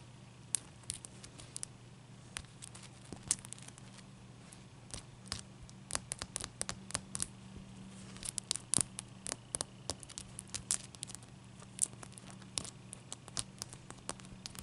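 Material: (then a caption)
Ice. Long nails tap, scratch and tilt one solid clear ice cube, making many sharp, bright clicks and scrapes that cluster and pause over a steady low hum. The taps are dry and die away almost instantly.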